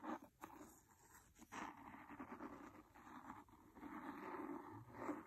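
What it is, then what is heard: Cloth-bound hardcover book, scratched. A wooden pencil scratches along the cloth cover of a large, solid, red cloth-covered hardcover book near the spine. Soft, rough scratching strokes rise and fall in short bursts, with a dry, grainy texture mostly in the low-mid range and little high-frequency hiss.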